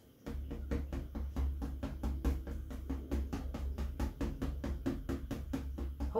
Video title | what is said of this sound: GORGEOUS!! Acrylic Pour Painting - Abstract Acrylic Fluid Painting | this is the sound that you want when you tap on your canvas